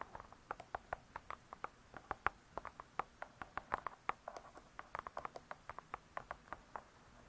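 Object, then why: Spiral-bound cookbook with laminated cardboard cover. Long nails tap and scratch the laminated cardboard cover of a spiral-bound hardcover cookbook, "Vegetarian Cookery." A few dozen quick, dry clicks fall in an uneven patter, each dying away almost at once, with a hollow midrange tone around 1.2 kHz and faint scratchy hiss between taps.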